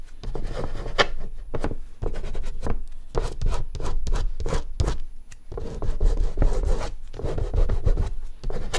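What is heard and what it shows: Fingertips rub and smudge a thick layer of oil pastel across a large white artist's paper sheet lying flat on a dark board. Repeated soft, dry rubbing strokes come in quick back-and-forth bursts, with a dull low-heavy tone and little brightness. The strokes are close and fairly steady, pausing briefly midway before continuing.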